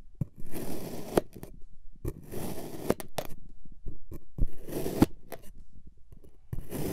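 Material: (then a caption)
Kinetic sand. A white plastic or ceramic knife repeatedly slices through a flat, solid, hand-sized lightning-bolt shape of multicolored packed kinetic sand resting on a white surface. Each pass makes a soft, grainy, crunchy scrape with sharp little clicks as the blade cuts through, separated by brief quiet gaps.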